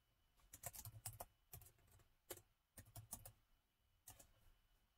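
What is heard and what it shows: Fingertips type continuously with both hands on a plastic laptop keyboard set in a gold metal body. Quiet, quick bursts of soft clicks come in clusters separated by brief pauses, each keystroke a short, dry tap with a low thump and a bright click edge that dies away almost at once.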